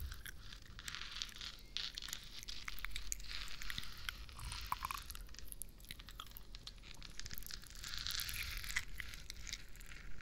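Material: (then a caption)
Plastic. Long nails and fingertips scratch a hollow, textured plastic moon lamp, lit and changing colour, held close to the microphone. The result is a dense, continuous run of dry, crunchy, crinkling scrapes, strongest in a bright band around 2 kHz and above. Low rumble sits underneath throughout.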